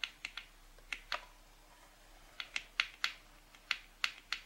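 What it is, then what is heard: Cardboard box. Long pink-painted nails tap and lightly scratch across the front cover and edges of a closed, printed cardboard packaging box lying flat. About twelve short, crisp, bright clicks come in small irregular clusters with quiet pauses between them. Each tap is dry and dies away almost instantly, with no low-end thump.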